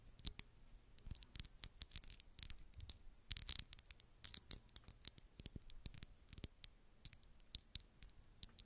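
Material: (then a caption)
Glass. A small, hollow red glass bottle with an embossed pattern, apparently empty, is tapped and scratched with long red nails. The result is a dense run of quick, bright clicks and scratchy taps with a high glassy tone and almost no ring or low end.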